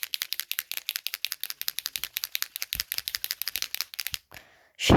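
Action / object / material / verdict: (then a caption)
shake / acrylic paint marker pen with mixing ball / plastic / none. An acrylic paint marker pen (Posca-type) is shaken rapidly, and the mixing ball inside gives about 34 quick, sharp clicking rattles over four seconds. The rattle then stops, followed by a short soft hiss and a louder rushing noise at the end. This is the normal sound of the marker being shaken a few times to get it working.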